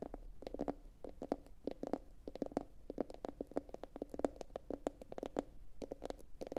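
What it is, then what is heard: Ceramic bowl tapped with nails. A medium, hollow, empty blue glossy bowl, likely ceramic, sits upside down and is tapped rapidly with long pointed acrylic nails from both hands. The result is a quick, uneven flurry of light clicky taps, each with a short, dry hollow tone centered around 290 Hz and a brief bright tick on top.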